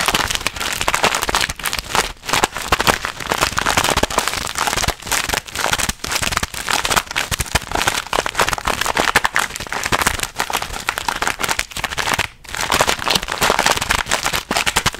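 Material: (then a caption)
Plastic film. Fingers crinkle and squeeze a hand-sized, purple and white printed plastic snack bag close up. The result is a dense, bright, steady crackle of short, sharp rustles that die away almost instantly, broken by a few brief quiet gaps, the longest near the twelve-second mark.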